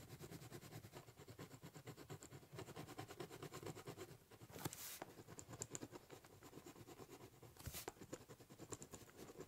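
A ballpoint pen scribbles and shades across the top surface of a large, hollow, brown corrugated cardboard box. Rapid scratching strokes make a dense, rhythmic rasp with a low, hollow body from the box and a bright, scratchy edge, broken by occasional sharper swipes.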